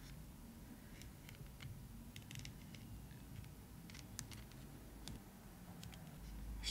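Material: PVC plastic.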